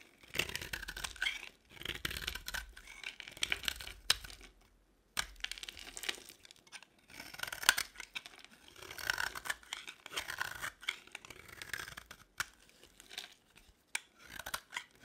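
A solid beige rectangular bar of dry soap held in the palm is shaved and scraped with a box-cutter blade, breaking off curls and flakes. Bursts of crisp, bright scraping and crumbly crackling come in irregular bursts, separated by brief pauses. Each stroke ends in sharp snaps as pieces break away.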